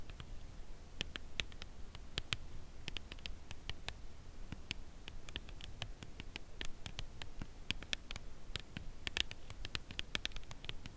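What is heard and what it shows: Fingernail tips tap the top edge and face of a full Lindt Caramel cardboard chocolate bar box held upright. Dozens of soft, dry, quick taps with no ring ride over a quiet, steady low rumble, with brighter clicky accents scattered across the clip.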